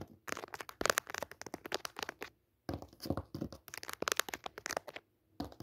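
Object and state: Cotton cutwork tablecloth being scratched.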